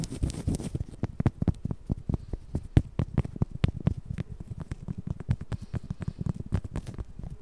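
Long yellow acrylic nails scratch and tap across the soft fabric surface of a large white stuffed plush cushion toy with a cute face, held close in front of the mic. A rapid, steady series of short, dull, muffled taps and soft scratching rustles is heard, mostly low and thumpy with no ring, over a faint brighter hiss that fades after the first second.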